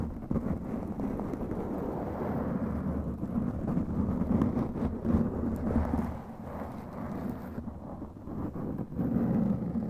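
Long glittery claw nails scratch a black foam windscreen on a microphone. The result is a dense, muffled, rumbling scratch that stays low and dark with no bright top. It keeps up steadily with brief swells and dips throughout.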